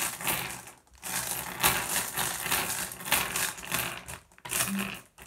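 Small solid blue glass gem pebbles rest on wood while a hand presses on them and picks them up with the fingers. The gems give bright, short clinks and rattles in several bursts, separated by brief quiet gaps.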